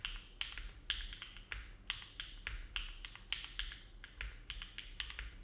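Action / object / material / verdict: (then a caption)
tap / mechanical keyboard with aluminum plate and plastic keycaps / plastic, aluminum / none. A compact silver-cased mechanical keyboard with an aluminum plate and dark plastic keycaps, resting on a desk mat, is typed on steadily with the fingertips of both hands. The key presses come as a brisk, uneven run of short, bright clacks that peak around 3.3 kHz and die away quickly, over a faint low rumble.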